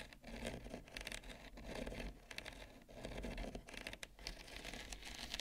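Long nails tap and scratch near the edge of a wide, shallow, solid, thin bamboo serving plate holding roasted pumpkin seeds. The result is a quiet, continuous mix of soft patters and dry, bright scrapes with short decays over a low, steady background rumble.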